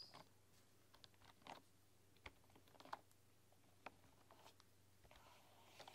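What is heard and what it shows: Fingertips and long, dark-polished nails tap and type on a full-size keyboard with a bamboo body, bamboo keycaps and a hollow case. Sparse, quiet, dry clicks with a bright edge sound at uneven intervals and stop almost instantly. A faint steady low hum runs underneath.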